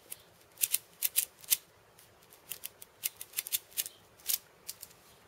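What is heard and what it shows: Fingertips tap and scratch the loops of steel ball chain and the wooden rim of a hand-sized steel bead cabasa, a hollow wooden cylinder. Quiet, bright metallic rattles and short scratchy bursts come in irregular clusters with brief silences between. Each burst cuts off almost instantly with no low end.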